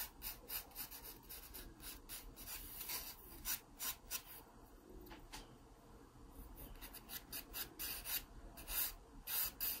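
A wooden graphite pencil tip scratches across the page of an open paper sketchbook lying flat, drawing guide lines. The strokes come as a quiet series of short, bright, raspy scratches with a faint papery rub between them, some louder near the end.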